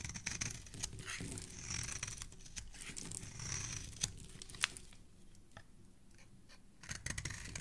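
A metal utility blade scrapes across the face and edge of a solid red, palm-sized bar of soap held in the hand, shaving off curls and flakes. The continuous scraping is a bright, crackly rasp with quick ticks and small snaps. It grows quieter and sparser for a couple of seconds near the end before picking up again.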